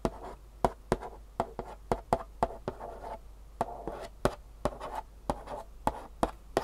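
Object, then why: Cardboard box. Long fingernails tap and scratch across the front face of a long, rectangular, glossy printed Superfeet cardboard shoe insole box, hollow with insoles inside. About 19 sharp, dry taps with very short decay sound hollow and papery, centered around 680 Hz. Between them, soft rasping scratches fill the gaps.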